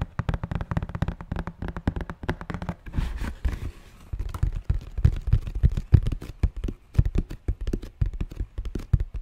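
Fingertips and nails tap rapidly on the lid of a closed, hollow red and white Nike cardboard shoebox held in both hands, probably holding shoes. The dense, dry taps give low, hollow thumps with almost no ring. A short softer, rustly stretch comes in the middle before the tapping picks back up.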